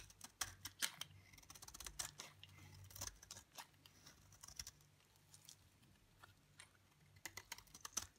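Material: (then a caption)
Soap. A utility knife blade scrapes shavings off a dry, pale green bar soap held in the hand. Quick, dry, bright scraping and crackling strokes come in irregular bursts, each fading almost at once, over a faint low hum.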